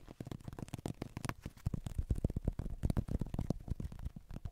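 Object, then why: Plastic human acupuncture model figure. Fingertips and long nails rapidly tap and scratch the head and torso of a hollow white plastic human acupuncture doll, about 30 cm tall, held close to the mic. The result is a dense, quick run of dull, hollow thuds and scrapes with very little brightness, each tap dying away almost instantly.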